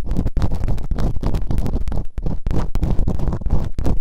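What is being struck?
Silicone ear model on a microphone, scraped with a bamboo pick.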